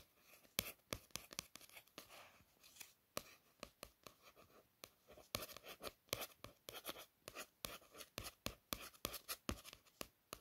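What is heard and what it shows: A steady run of short, bright, papery scratches and clicks with no ring at all. Fingernails trace and scrape across the stiff card cover of a paperback, the thin board giving only a dry, hissy rasp. The room sounds small and close.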